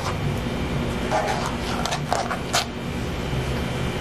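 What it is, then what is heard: Rubberized plastic phone case. A hand-sized smartphone in a thick black rubberized plastic case, held close, is tapped and scratched rapidly with long fingernails. Quick, light clicking taps and scratchy rubbing sit over a steady low background hum.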